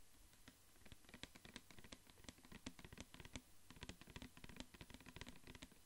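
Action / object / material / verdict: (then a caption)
tap / plastic pump dispenser bottle / plastic / none. A clear plastic pump dispenser bottle with a white pump, full of orange liquid, is held in hand and tapped and scratched with fingertips and nails. A quiet, rapid, uneven patter of short, dull taps with scratchy bright clicks runs throughout. Each tap dies away almost instantly.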